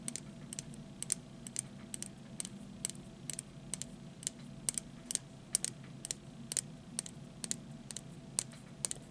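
A small hollow plastic disposable lighter with a printed body and a metal hood, held horizontally, is tapped with the fingertips and short nails of the other hand. About 28 quick, dry, bright clicks are heard, each dying away almost instantly, over a soft low hum.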